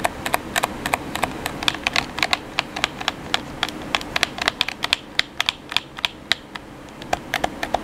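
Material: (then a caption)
Plastic. Fingertips rapidly tap the face buttons of a black, hollow plastic gamepad held in the hands. About 40 sharp, bright plastic clicks come in quick, uneven bursts over a faint steady hiss. Each click dies away almost instantly with no ring.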